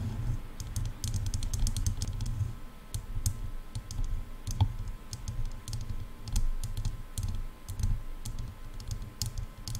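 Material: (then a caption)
Plastic. Long nails tap quickly on hollow silver plastic headphone ear cups, making a rapid run of sharp, bright clicks. Each click is short and dry, heard over a steady low rumble.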